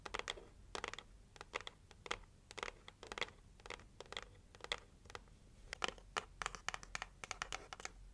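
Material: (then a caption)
Cardboard. Long nails scratch the lid and edges of a hollow pink heart-shaped cardboard gift box. Many quick, dry scratching strokes sound in bursts, bright and papery with little low end. Each stroke is short and dies away at once.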